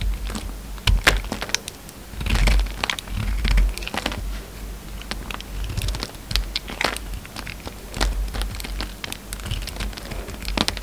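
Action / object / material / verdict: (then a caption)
scrape / bar of soap / soap / none. A hand-held solid peach soap bar is carved into a shape and scraped with a utility knife blade, shaving off flakes. Dense, crisp crackling and scraping clicks come in rapid bursts with bright edges, over a steady low rumble and occasional soft thumps.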